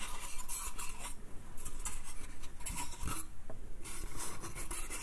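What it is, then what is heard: Wooden slatted crate. Fingertips and nails scratch and tap the slats of a small, hollow, light pine slatted crate with a "bath" print, held in the hand. A steady dry rasping and rubbing is heard over a low rumble, broken by bursts of bright, brittle scratching and a few soft hollow taps.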